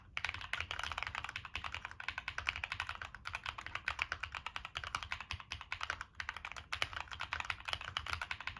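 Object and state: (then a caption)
Mechanical keyboard with metal case and plastic keycaps. Continuous fingertip typing on a Monsgeek M1 mechanical keyboard with a black aluminum case, plastic keycaps and NK Cream switches. The keystrokes come in a fast, steady stream of short, crisp clacks that are bright with little low end and die away almost instantly.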